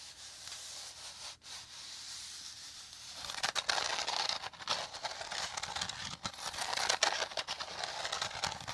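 Fingertips and nails rub and scratch over a hollow, dome-shaped woven rattan or straw bowl. A quiet, airy rustle builds after about three seconds into louder, rapid, uneven scratching and crackling, bright and dry with very little low end.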